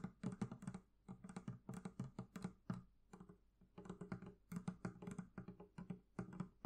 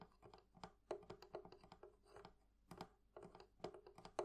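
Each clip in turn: First: leather covering on a barrel chest. Second: metal fittings on a wooden chest.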